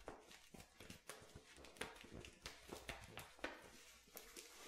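A clear plastic water bottle with a white cap, hollow and partly crushed, is held in both hands while fingertips and nails tap and grip it. Quiet, irregular clicky taps and crinkles with short, bright attacks stand out over a soft, continuous rustle.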